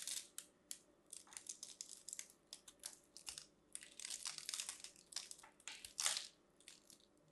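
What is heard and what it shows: A metal craft knife carves into a solid, hand-sized, green and white striped bar of dry soap held in one hand, flaking off small cubes. A rapid series of dry, crunchy, crackling cuts sounds bright and high with almost no low end, some strokes running together into longer scraping crunches between short pauses.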